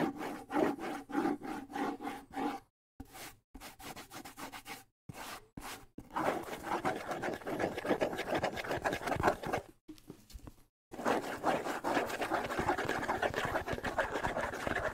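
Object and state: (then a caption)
Wood and skin bongo drum, scratched. Fingernails scratch and rub across the wooden shell and skin head of a small hollow bongo drum. Quick rhythmic rasping strokes with a hollow, mid-pitched tone come first, broken by short silences. From the middle onward they give way to denser, continuous scratching with a brighter, papery texture.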